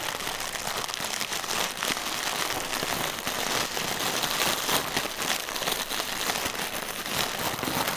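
A single hollow, air-filled plastic air cushion from packaging material is held in the hands and squeezed, tapped and scratched with the fingertips. The result is a steady, dense crinkling and crackling with a bright, hissy top and very little low end.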